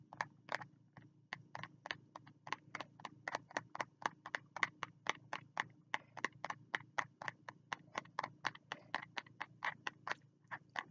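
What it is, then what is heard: Spiral notebook cover tapped. Fingertips tap and scratch the cover of a small spiral notebook with a green cover held at the chest, producing around forty quick, dry, bright taps that die out almost instantly. The taps come in a steady, slightly uneven rhythm over a faint low hum.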